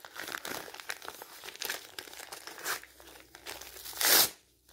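A thin, light-coloured printed magazine page held in the hand is crumpled and torn by fingers. It makes dense, bright, crackling crinkles in uneven bursts, with almost no low end. A final loud rip near the end drops quickly to quiet.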